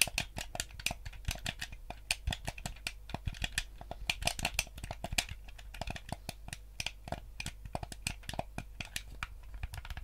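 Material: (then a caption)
Plastic. Thumbs and fingertips press the buttons and tap the shell of a yellow hollow plastic gamepad. A quick, irregular stream of short, dry, bright clicks and taps runs throughout, each one dying away almost instantly over a steady low hum.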